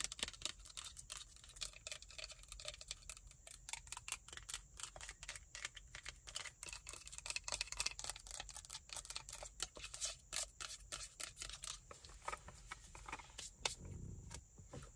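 Long nails tap and scratch along a tall, hollow, partly full plastic body mist spray bottle with a printed copper label. The result is a quiet, rapid stream of sharp, bright clicks with almost no ring, mixed with soft scratchy friction. A brief low rumble swells near the end.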